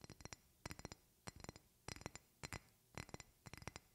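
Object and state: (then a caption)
Glass perfume bottle. Long painted fingernails tap a medium rectangular glass perfume bottle with a silver cap, held in both hands. Quick clusters of short, bright glass clinks come in rhythmic bursts, with brief quiet gaps between each group.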